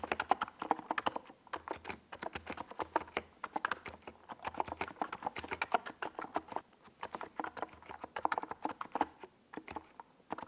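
Fingertips type continuously on a NiZ Plum Atom 68, a small 68-key mechanical keyboard with a white plastic case and purple and yellow plastic Domikey Gas Attack SA keycaps, resting on a desk pad. The result is a steady stream of short, dry, clacky keystrokes centred in the midrange, each dying away almost instantly.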